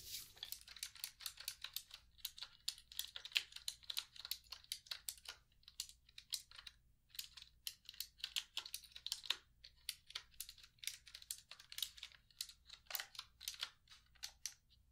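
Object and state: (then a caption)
Plastic computer keyboard being typed on. Long fingernails type and tap on the keys of a black plastic computer keyboard resting on a lap. The result is a quiet, steady stream of sharp, bright clicks with brief pauses, each ending almost instantly with no ring.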